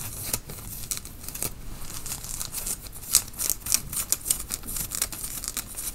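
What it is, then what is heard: Cotton t-shirt. Fingernails scratch a worn grey tie-dye cotton t-shirt at the shoulders and front. The result is a steady run of bright, dry scratching strokes at an irregular pace, with a few sharper, louder rasps standing out.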